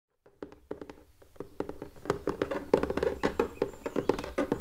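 Fingertips and short nails tap and scratch the top and sides of a small, hollow, pink ribbed plastic storage box with a printed drawer front and its drawer closed, resting on a wooden table. The quick, irregular taps give short, hollow, mid-pitched knocks with little ring, mixed with light scratching. They start soft and grow louder and denser toward the end.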